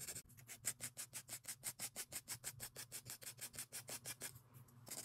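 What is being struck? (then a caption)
Plastic press-on nail tips. A gloved hand rubs a white abrasive nail file back and forth over long, clear plastic (ABS) press-on nail tips glued onto the fingers, with thin, hollow shells. About 28 quick, quiet, bright rasping strokes follow each other at a steady rhythm over a faint low hum, with a brief pause near the end before the filing resumes.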